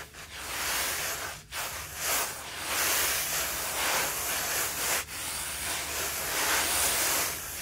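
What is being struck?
Loose carpet freshener powder on a flat table, rubbed by hand.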